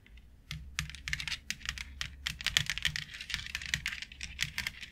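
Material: Plastic.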